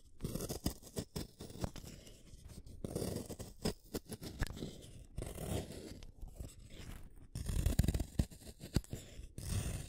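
A green wooden colored pencil, a small solid stick, is shaved by the metal blade of a yellow plastic hand sharpener, one at a time. The result is a steady run of dry, crunchy scraping cuts with short pauses between turns, mostly low and muffled, with brief bright crackles.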